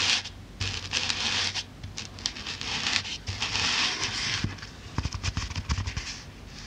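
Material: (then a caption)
Polyethylene foam. Long black-painted nails tap and poke the top of a thick, solid but soft white polyethylene packing foam block with Halloween writing, held in hands on a wooden table. Bright, dry scratching and pattering come in uneven bursts, with sharper, separate taps toward the end.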